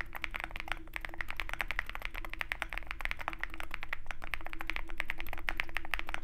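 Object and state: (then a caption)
Mechanical keyboard typing. Fingertips of both hands type continuously on a Zoom65 65% mechanical keyboard with white MT3 PBT keycaps and a dark aluminum case, resting on a desk mat with a wooden wrist rest. Quick, short, irregular keystrokes clack with a midrange tone near 1.8 kHz over a low steady hum. The typing grows slightly louder toward the end.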